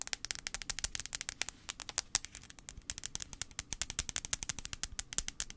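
Long acrylic nails tap rapidly on the glass screen of a handheld blue iPhone 5c held screen-forward. About 46 sharp, bright clicks come in a quick, uneven stream, each dying away almost instantly, with little low-end body.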